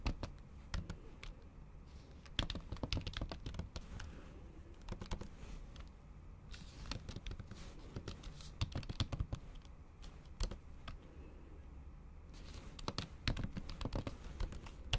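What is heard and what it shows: Long acrylic nail tips type on a MacBook Pro keyboard whose plastic keys sit under a thin pink patterned silicone cover. The result is irregular bursts of quick, soft, muffled clicks and taps with short pauses between runs. Each tap is dull and low-heavy, with a faint bright tick and almost no ring.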